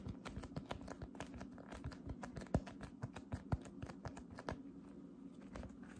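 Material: Slime.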